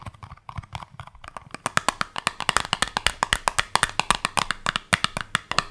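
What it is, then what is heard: Cardboard soap box. A small, hollow, yellow printed cardboard soap box, held in the hands, is tapped with long nails. It makes a rapid run of dry, clicky, bright taps with almost no ring, centered near 2 kHz. The taps start softer and sparser, then grow louder and more steady.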